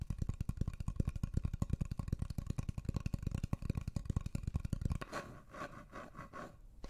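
Long nails scratch and rub the surface of a solid, flat, light wooden heart-shaped block, about hand-sized, held close to the microphones. For about five seconds there is a rapid, uneven run of dull, low, deep tapping scratches. Then it eases into a softer, brighter rubbing that fades quietly.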